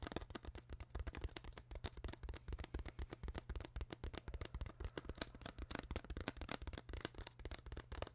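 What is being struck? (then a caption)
Plastic water bottle. Long acrylic nails tap and scratch the ribbed sides of an empty, hollow clear PET plastic water bottle with its cap on, held in a hand. The result is a rapid, irregular run of short, dry clicks at roughly four per second, each with a bright crackly edge over a hollow low thump, plus a soft scratchy texture between taps.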